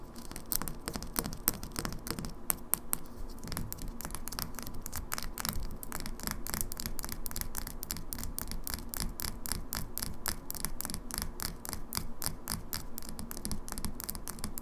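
A small glass cosmetic foundation bottle with a plastic pump cap, partly full of liquid, is held in hand while long fingernails tap and scratch quickly on the glass and its label. The result is a steady, rapid stream of short, crisp, bright clicks with light scratchy textures over a low background rumble.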